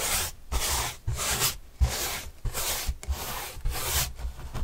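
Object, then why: Corrugated cardboard panel brushed with a paintbrush. A paintbrush is swept back and forth across a large white printed corrugated cardboard panel held by hand. Each stroke makes a dry, bright, scratchy rasp with soft low thumps underneath, and the strokes come in an uneven rhythm with short pauses between them.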